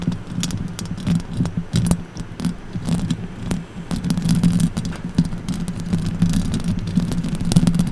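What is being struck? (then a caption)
Metal mesh microphone grille scratched and tapped with fingernails. Long orange acrylic nails tap and scratch the hollow metal mesh grille of a silver condenser microphone, producing rapid, dense clicks and scraping rustles. A steady low hum runs underneath, with sharp bright transients from the nail strikes layered on top throughout.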